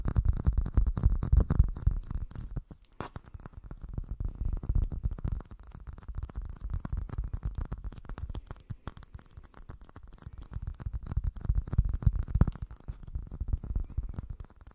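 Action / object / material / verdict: scrape / plastic dome lid / plastic / none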